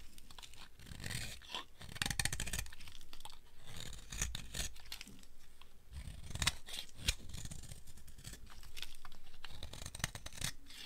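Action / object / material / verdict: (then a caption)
scrape / bar of soap cut with a blade / soap / none. A solid, dry, oval green soap bar is carved with a utility blade, producing a steady run of crunchy scraping and cutting sounds with sharp, bright crackles. The blade strokes overlap in a continuous rasp with brief louder snaps, and the soap flakes away under the cut.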